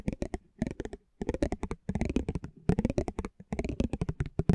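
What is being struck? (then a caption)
Thin cardboard trading card rolled over with a metal spiked wheel. A metal spiked pinwheel is rolled over the surface of a small, thin cardboard basketball trading card held in the hand. It makes quick bursts of dry, crackly ticking with a low, papery body, broken by short pauses between passes.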